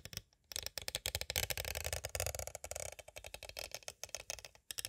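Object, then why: Plastic cassette tape case. Two thin green-handled tools tap and trace across a small, hollow, clear hard plastic cassette tape case. A quick, dense run of short, dry, bright clicks mixes with light scraping, with only brief pauses before the tapping resumes.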